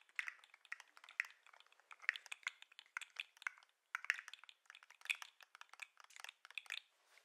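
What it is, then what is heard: Plastic articulated lobster toy. A hand-sized, hollow-looking 3D-printed plastic lobster fidget toy with green and white jointed segments is held up by the claws and shaken, so the segments swing and click against each other. Rapid, irregular bursts of dry, bright plastic clicks and rattles follow, each dying almost instantly, with no low end. There is a brief pause partway through before the clicking resumes and trails off quietly.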